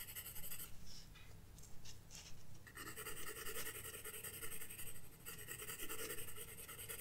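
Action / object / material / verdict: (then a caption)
scrape / graphite pencil on paper sketchbook page / paper / none. A pencil held in the fingertips draws scratching strokes across a flat spiral paper sketchbook page. Quiet, dry scratches of uneven rhythm carry a bright, hissy graphite texture over a steady low hum. Some passages sound denser and more continuous than others.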